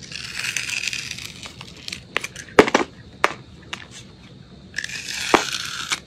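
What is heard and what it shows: A metal utility blade scrapes the crunchy blue glitter coating off a solid, palm-sized white soap bar. A bright, gritty scraping rasp opens the clip and gives way to scattered sharp crackles and snaps. The steady scraping then returns near the end.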